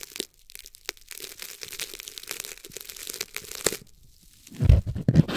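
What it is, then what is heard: Corn starch foam packing peanut being crushed. A single small, light-green corn starch foam packing peanut, solid and light, is squeezed and crushed between fingertips over a cloth surface. Quiet, irregular crackling and tearing crunches run through the clip, then after a brief lull, louder, deeper squeezes thump and crunch near the end.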